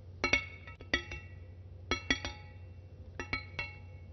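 A large, solid steel kitchen knife blade is held in hand near the microphone and tapped with long fingernails, giving ten light, bright metallic clinks in small clusters. Each clink rings with a high tone around 2.2 kHz and fades quickly over a faint low hum.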